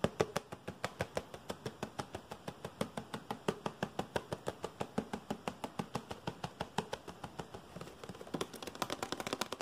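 A small, hollow blue-and-white printed cardboard box is held in one hand and tapped and scratched fast with fingernails. It gives a rapid, uneven run of dry, short taps, about three per second, that turn into denser scratching toward the end.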